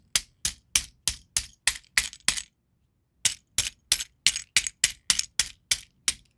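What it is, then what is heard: Mesh bag of dry seashells. Fingertips press, squeeze and rub dry scallop seashells through a plastic mesh net bag resting on carpet. Eighteen short, bright, crisp crunches come in a steady rhythm, eight of them, then a pause of about a second, then ten more. Each is a brittle clatter of shells that dies away almost at once.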